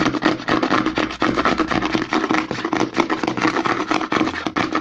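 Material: Plastic.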